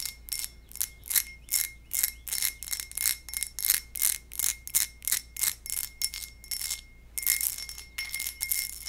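A textured glass goblet is tapped in a quick, steady series of light strikes, each giving a bright, bell-like ring that fades almost at once. A faint steady tone near 2 kHz carries through the tapping, over a low background hum.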